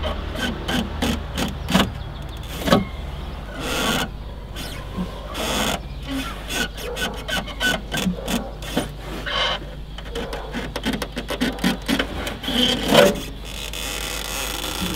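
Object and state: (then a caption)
Felt trunk lid liner scratched. Fingers and nails scratch along the dark grey felt lining on the inside of an open car trunk lid, a large thin sheet stretched over the metal lid, and along its edge. The sound is a rapid series of dry, brushy scraping strokes, with some sharper, louder rasps standing out against a low steady background hum.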